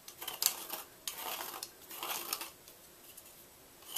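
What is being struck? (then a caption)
Gym chalk block scraped with a knife. A white gym chalk block, carved hollow and held in one hand, is scraped inside with a red-handled knife. Short, dry, bright scraping strokes come in bursts with quiet gaps between them.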